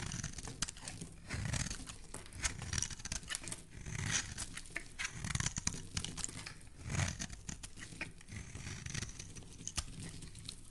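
A metal blade shaves thin curls from the edge of a solid pink marbled soap bar. The result is a quiet, continuous run of crisp scraping and crackling with bright, papery detail. Soft low thumps run underneath, and the texture swells and fades with each stroke.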